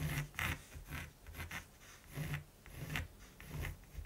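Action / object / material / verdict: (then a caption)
scrape / primed canvas with pencil / canvas / none. A mechanical pencil tip rubs and scratches line strokes across a large, flat primed canvas while sketching a raven. Six quiet, dry scraping strokes come in separate bursts, each with a soft low rumble and a bright, papery hiss, fading almost instantly between strokes.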